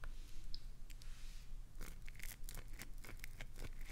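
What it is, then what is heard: Glycerin soap bar being scratched. Long nails scratch and dig into the face of a solid, translucent green glycerin soap bar held in both hands, gouging shavings loose. Quiet, dry scraping and crunchy scratches come in short bright bursts, sparse at first and then quicker and denser in the second half, over a faint low rumble.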